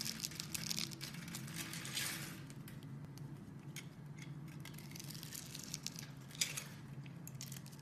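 A metal utility knife blade scrapes and cuts along a hand-sized solid green bar of soap scored into a grid of cubes, held in a hand with long red nails, shaving off small cubes. Dense, bright crinkling and crunching scrapes come in quick bursts over a steady low hum, with a sharp louder cut near the end.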